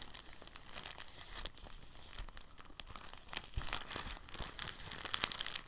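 An empty, thin, translucent soft plastic bag is rolled and squeezed with the fingers. It makes a steady, soft, bright crinkling throughout, with a few sharper, louder crackles near the end.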